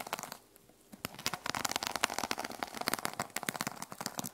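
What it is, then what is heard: Sequin-covered journal. Long nails scratch back and forth across the teal plastic sequin cover of a small notebook resting on a wooden table. The result is a dense, bright crackling and crinkling rustle that briefly pauses near the start, then resumes in quick, sharp bursts.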